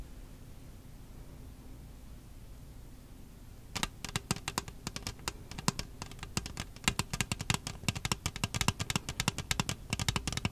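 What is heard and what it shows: An empty, hollow red plastic disposable party cup is held at the side of the mic while long nails tap and scratch its wall. After almost four seconds of faint low hum, a rapid, irregular run of sharp, bright clicking taps begins, with quick dry scratches between them, each tap dying away almost instantly.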